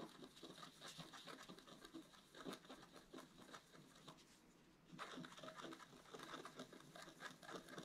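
A wooden stylus scratches a flat black-coated scratch art paper card in rapid short strokes, making a dense, dry, bright scratching patter. The scratching eases to a softer stretch around the middle before picking back up with the same rapid strokes.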